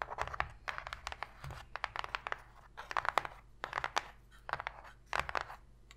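Long pink nails tap quickly and scratch the floor of an empty, open white cardboard box tray, giving a hollow sound. Bursts of sharp, bright clicks with no ring are mixed with dry scraping, over a faint low hum.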